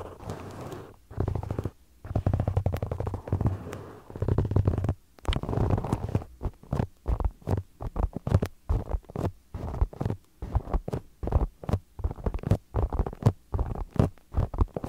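Two identical small solid polyurethane foam stress balls with a soccer pattern, held against a microphone and tapped and scratched with fingertips and short nails. The result is a close, muffled run of deep, rumbling scratches and soft thumps, with longer rubbing passages early on and quicker separate taps later.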